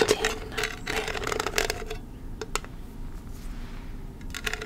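Long red nails tap and scratch the metal lid and sides of a small, round, hand-held candle tin with a paper label, full of wax, and the lid is handled. Bursts of bright, crisp clicks and scratchy rasps carry a faint metallic ring, separated by a quieter stretch with a few isolated taps.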